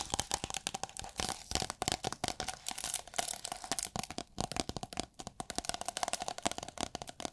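Long nails tap, scratch and squeeze a rolled tube of thin, iridescent holographic plastic film, producing a rapid, continuous run of sharp crinkles and crackles. The sound is bright and dry, with a faint steady tone near 700 Hz running beneath the dense clicks.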